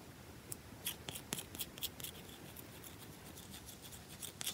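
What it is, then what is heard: Bar of soap scratched by fingernails. Long nails dig into and scratch the scratched top of a round, solid bar of soap. About ten sharp, bright scratching clicks stand out over a quiet, hissy background, each dying away almost at once.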